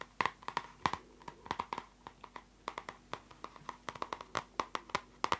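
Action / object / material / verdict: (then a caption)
tap / plastic-cover spiral notebook / plastic / none. Long nails tap quickly on the plastic cover of a closed purple spiral notebook. The result is a rapid, uneven run of short, sharp clicks with a light tonal ring around 1 kHz and bright edges. Each tap dies away almost instantly.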